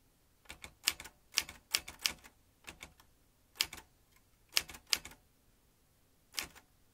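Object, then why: Manual metal typewriter. Fingertips type on a vintage metal manual typewriter with metal typebars and a ribbon spool. Sharp, bright clacks come in irregular bursts with short pauses between them, each strike dying away almost instantly.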